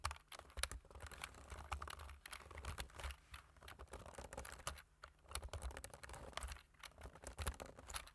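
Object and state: Plastic computer keyboard.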